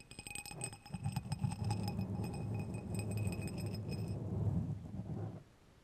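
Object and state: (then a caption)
Steel threaded rods rubbed and clinked. Two long, thin, solid steel threaded screws, one held in each hand, are rubbed and clinked together close to a microphone. The result is a continuous low, gritty scraping rattle laced with quick metallic clinks and faint high ringing tones. The sound stops abruptly near the end.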